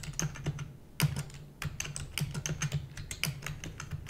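Rapid typing with long nails on a black plastic computer keyboard produces a fast, irregular stream of sharp, bright clicks over a low hum. Each keystroke is short and dry, with a louder cluster of strikes around the one-second mark.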